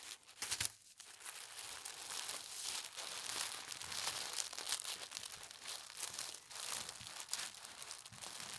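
A sheet of thin holly-print tissue paper, folded into a strip and rolled over, is pressed and smoothed by fingertips with long nails. It makes a steady, soft, bright crinkling and rustling with almost no low end, with a few slightly louder crinkles near the start.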